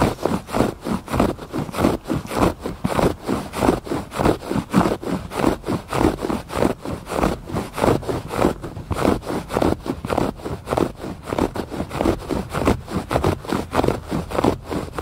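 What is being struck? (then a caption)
Woven fabric rug. Fingers scratch rapidly across the loops of a textured woven fabric rug lying flat. About 32 dry, scratchy strokes come in a steady, slightly uneven rhythm, each a short burst of rustling noise centered in the low-mid range with little high-end brightness and no ring after each stroke.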